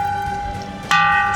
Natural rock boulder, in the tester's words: ఇది కూడా ఒక్కొక్క దగ్గర కొడితే ఒక్కొక్క విధంగా సౌండ్ వస్తుంది. చూడండి ఇక్కడ మాత్రం బాగా మంచి గట్టిగా వస్తుంది.